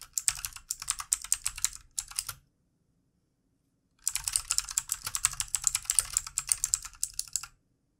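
Both hands type quickly with their fingertips on a full-size backlit plastic mechanical keyboard with hollow plastic keycaps, resting on a desk. A fast burst of bright, crisp key clicks with very little low end runs for about two seconds, then stops for a short silence. A longer run of rapid, sharp taps follows and ends with no ringing tail.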